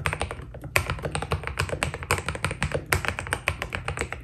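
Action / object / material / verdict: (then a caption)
tap / mechanical keyboard with plastic keycaps / plastic / none. Fingertips of both hands type steadily on a white Keydous NJ80 mechanical keyboard with PBT plastic keycaps, a steel plate and foam inside. A quick, even stream of short clacky keystrokes plays over a low steady hum, each press giving a bright tap that stops almost instantly, with a few louder strokes standing out.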